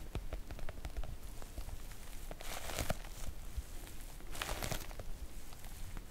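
Long nail tips tap and lightly scratch the surface of a floral PVC-coated oilcloth make-up bag with both hands. Quiet, rapid, dull taps run throughout, with two longer stretches of crinkly, bright scratching.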